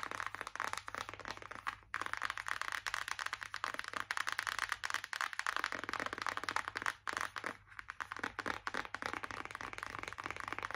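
Long acrylic nails tap and scratch rapidly on a closed white Revolution cardboard makeup palette, flat and hollow. The result is a dense run of dry, papery clicks and scrapes centered in the midrange around 1–2 kHz, with bright edges and almost no ring. Brief pauses fall near 2 and 7 seconds.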